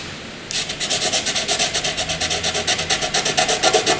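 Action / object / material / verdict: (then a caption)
scrape / graphite pencil on paper / graphite / none. A soft, dark graphite pencil shades a large area on white paper. After half a second of faint hiss, rapid back-and-forth scratching begins, giving about twenty-two bright, raspy strokes in a quick, uneven rhythm.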